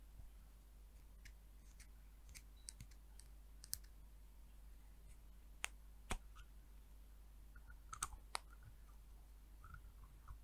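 Long nails tap the orange plastic cap and the body of a small, apparently full HASK amber glass hair oil vial with a paper label. Sharp, brief clicks with bright, high ticks are scattered over a quiet background with a steady low hum, and each tap dies away almost instantly.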